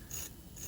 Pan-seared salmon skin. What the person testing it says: you can hear how crispy that is